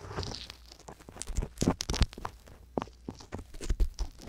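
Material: Silicone.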